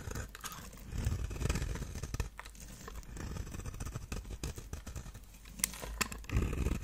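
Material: Soap.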